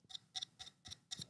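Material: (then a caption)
Wood. Someone taps on a treasure-like wooden box that holds a knife. The result is a quick series of quiet, dry, bright clicks that die away almost instantly, with a clicky ticking character.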